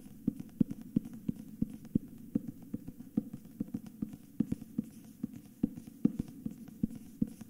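Fingers and nails tap and scratch the front cover of a solid, cream dust-jacketed hardcover book held tilted in both hands. A steady run of quick, dull, woody-sounding taps centered in the low-mids stops dead with no ring, with faint papery scratching between them.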